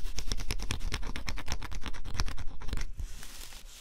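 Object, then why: Cardboard scratch-off puzzle with coated surface. A stylus scratches the black coating off a flat cardboard scratch-off jigsaw puzzle in quick, uneven strokes. Each stroke is a short, dry, rasping scrape with a bright edge and a dull low thump beneath. The scratching runs steadily, then turns softer and thinner in the last second.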